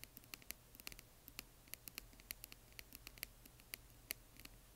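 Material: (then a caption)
Plastic. Long nails and fingertips tap and scratch the sides of a small, hollow, yellow glittery plastic box holding colored plastic bingo chips. The result is a quiet, rapid patter of sharp, bright clicks and scrapes that die away instantly, over a faint low hum.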